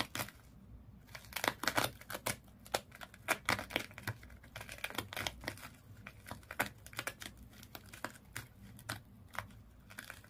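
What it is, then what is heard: Sisal rope wrapped fish toy. Long nails scratch quickly across the body of a small fish toy wrapped in colored twisted sisal/jute rope. The result is a rapid run of dry, crackly, bright rasps and short scratchy bursts that stop sharply, with little low end beneath them.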